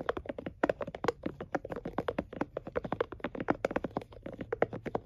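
A plastic and silicone scalp massager is held in both hands while fingertips and nails tap and flick its silicone bristles. The result is a rapid, uneven series of short, dry, muted taps and flicks centred around 470 Hz, with almost no ring.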